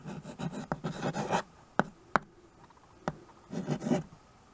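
A white chalk stick writes and scratches across a small wood-framed chalkboard held by a hand with painted nails. Bursts of dry, raspy chalk strokes alternate with a few sharp, short taps as the chalk strikes the surface, ending in a final stretch of scratchy writing.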